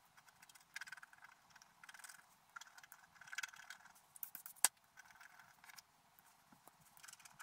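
A wooden stylus scratches away the black coating on a flat scratch art paper sheet. Quiet, dry bursts of bright, papery scraping come in short strokes, with one sharper, louder scratch near the end.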